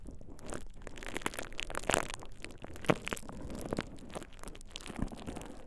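A thin purple plastic bubble-wrap sheet draped over the ears of a binaural dummy-head microphone is squeezed and crinkled by fingertips. The result is close, continuous crinkling and crackling, with a few sharper snaps standing out near the two- and three-second marks.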